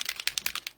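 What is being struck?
Plastic spray bottle with a small mixing ball.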